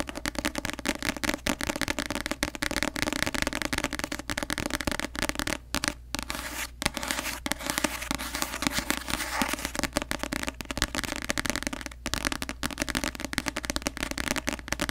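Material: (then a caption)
Card. A paperback copy of the novel "The Cruel Prince," with a glossy card cover, is held upright in both hands while long nails tap rapidly across the cover. The result is a dense, continuous stream of short, crisp clicks with a bright, crackly edge, over a faint steady low hum.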